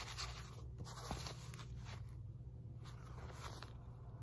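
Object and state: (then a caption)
Fabric resistance band being scratched. Long nails scratch and rub a black woven fabric glute resistance band with pink stripes as it rests on a lap. The result is a quiet, steady, papery scraping with brief brighter scratches over a constant low hum.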